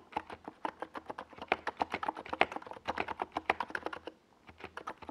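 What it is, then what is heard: Plastic mechanical keyboard with tall keycaps. Fingertips of both hands type on a compact 68-key NiZ Plum Atom 68 mechanical keyboard with a white plastic case and tall purple and yellow Domikey Gas Attack SA plastic keycaps, resting on a desk pad. About thirty quick, dry, mid-pitched plastic clacks with brief bright edges run steadily, pause briefly just after four seconds, then resume.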